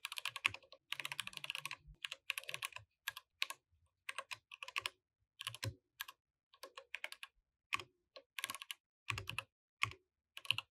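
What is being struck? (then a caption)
Mechanical keyboard with plastic keycaps. Both hands type with their fingertips on a compact mechanical keyboard with plastic keycaps while the mouse stays idle. Bright, sharp clicky keystrokes come in quick bursts separated by short pauses, each stroke dying away almost instantly.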